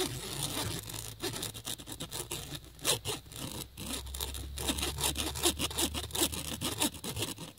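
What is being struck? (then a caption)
Nylon fabric bag scratched with a cable plug. A USB cable plug is dragged in quick scratching strokes across the flat woven surface of a black nylon fabric bag, with a phone lying nearby untouched. The result is bright, dry, hissy scratching in short, irregular bursts over a faint low rumble.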